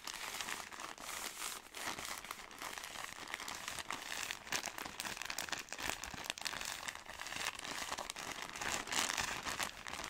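A soft plastic-film product pack is handled and squeezed with long nails, giving a steady stream of bright crinkling and crackling throughout. The sound is dense and high, with quick rustles and little low end.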